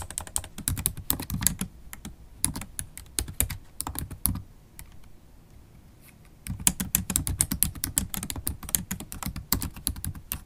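Long black holo stiletto acrylic nails and fingertips type fast on the low-profile black plastic keys of a MacBook Pro laptop keyboard set in a silver aluminum body. Rapid, dry clicks with bright nail ticks sit over soft low key thuds. A quieter pause falls near the middle before the fast typing resumes.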